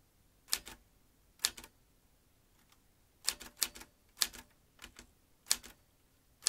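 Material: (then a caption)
Metal. Fingertips press the keys of a metal manual typewriter, typing slowly. Each keystroke is a sharp, bright clack that dies away almost at once, often followed by a softer secondary click. The strikes arrive singly or in quick clusters, separated by near-silent pauses.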